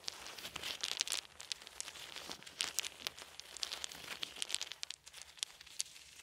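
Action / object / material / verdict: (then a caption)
strike / small wooden beads / wood / none. Small solid wooden beads are held in each hand while the fingers roll and click them together. The result is a quiet, dense run of sharp, bright clicks and soft rattling ticks with almost no low end, each click dying away almost instantly.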